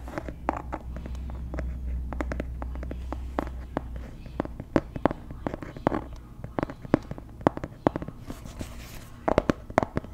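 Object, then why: Hardcover paper planner. A medium-sized dark blue hardcover planner marked PLANS, with white paper pages, is opened and then closed in the hands and tapped with long nails close to the mic. Dozens of sharp, dry clicks and taps sound over a low hum that fades after the first four seconds.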